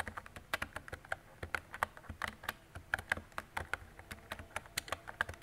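A mint-green retro plastic mechanical keyboard with round plastic keycaps and a hollow body is typed on with fingertips and long decorated nails. A steady run of quick, dry clicks and taps rises over a faint low hum, each keystroke short and crisp with a hollow, mid-toned clack and a bright edge.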